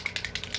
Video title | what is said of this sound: SKINGLASS CONTROVERSY: NOORFACE vs NATASHA DENONA (FIRST IMPRESSIONS AND COMPARISSONS) | you hear that ball in there you definitely have to shake it up